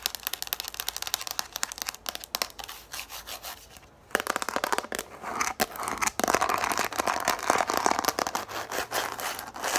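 Long nails scratch the ridged top of a yellow plastic frisbee and tap on it, first while it lies on a table and then while it is held. Fast, irregular, bright crinkly scratches and clicks run throughout, with a brief quiet gap around the four-second mark. After the gap the scratching grows louder and denser, with a hollow midrange plastic tone.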